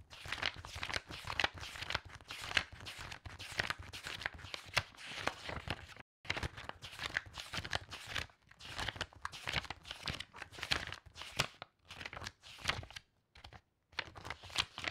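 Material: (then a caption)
Paper. Fingertips with long nails lift and fan through a stack of old, yellowed loose book pages, making fast, bright paper flutter and crinkle. The crisp rustling runs almost continuously, with brief silent pauses around 6, 8 and 13–14 seconds.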